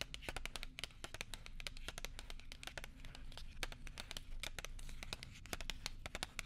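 A small, flat gum package wrapped in silver foil and paper is held close to a microphone and crinkled and tapped with long nails and fingertips. Dense, rapid, crisp crackles and sharp bright clicks overlap continuously over a soft low rumble.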